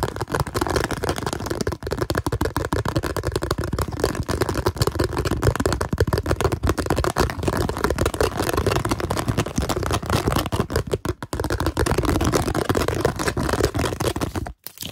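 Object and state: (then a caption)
Plastic container. A translucent blue plastic container with a ridged rim, held in the hands, is scratched and tapped rapidly with nails and fingertips. The result is a dense, continuous stream of quick, short, dull clicks and scrapes, heavy in the low end. It stops briefly near the end.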